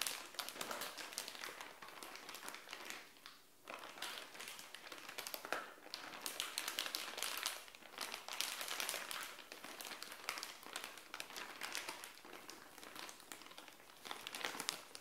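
Long nails scratch and rub a purple bikini top sealed in a clear plastic bag on a tile floor. The crinkly plastic gives a steady stream of bright, dense crinkling and scratching with quick sharp crackles, dipping briefly near the four-second mark before resuming.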